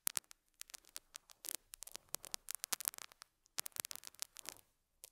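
A metal dental scaler hook scratches a small square beige felt pad resting on a lapel mic, giving a rapid string of sharp, bright scratchy ticks over faint hum. The strokes come in irregular bursts with brief pauses, almost entirely high-frequency with very little low end.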